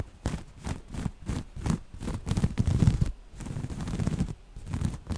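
Long nails scratch across folded grey waffle-weave cotton fabric, soft and thick. The result is a run of dull, low, rustling scratch strokes with a textured scraping quality. The strokes come in quick succession with brief pauses between bursts.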